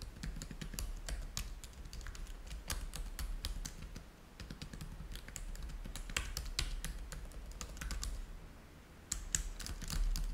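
Fingertips type quickly on the keys of a black plastic laptop keyboard, making a dense run of short, bright clicks. A steady low hum sits underneath, and the typing briefly pauses near the end before a few final, sharper taps.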